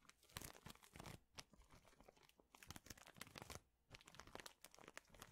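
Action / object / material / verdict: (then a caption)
scrape / plastic bag of thin wooden chips / plastic, wood / none. A large clear plastic bag full of thin, flat wooden chips is squeezed, crinkled and scratched with fingertips. Dense bursts of bright, crackling crinkles and dry, tearing-like rustles come in quick clusters, broken by brief quieter gaps. Each crackle stops almost instantly, with no ringing afterward.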